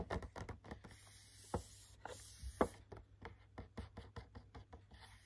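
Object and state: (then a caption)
Cardboard gift box with plastic window. Fingertips with short nails tap and scratch the front of a medium cardboard retail gift box with a clear plastic window that holds three hand cream tubes. A quick, irregular run of soft, dry taps mixes with faint scratching, each tap dying away almost at once.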